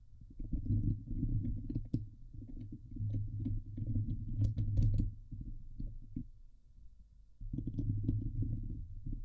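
Long nails and fingertips of both hands scratch the hollow steel mesh grille of a Blue Yeti microphone. The sound is a dense, boomy low rumble centered around 105 Hz, with brief brighter clicks and scrapes on top. It eases into a quieter stretch near the six-second mark, then returns at full intensity toward the end.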